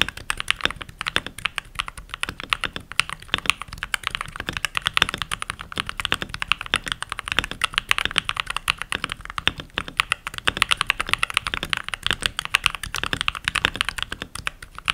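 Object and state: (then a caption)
Plastic mechanical keyboard. Fingertips with short nails and rings type continuously on a full-size backlit mechanical keyboard with pink plastic keycaps. The result is a steady, rapid stream of short, bright plastic clacks with almost no ring and very little low end.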